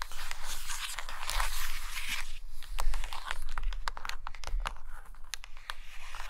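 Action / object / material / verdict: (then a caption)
scrape / stack of hardcover paper books / paper / none. Long green nails scratch and tap the top covers and page edges of a stack of hardcover paper books resting on a carpet. A dense, dry scratching fills the first couple of seconds, then gives way to a run of quick, crisp taps with short scratchy strokes in between, over a faint low rumble.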